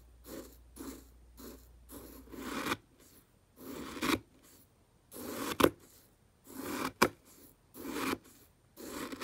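A thin black stick pokes and stirs dry round fish food pellets in a small clear plastic jar with the lid off. Short bursts of soft, grainy rustling and scraping come at uneven intervals, a few ending in sharp, bright clicks as the stick knocks against the pellets or jar.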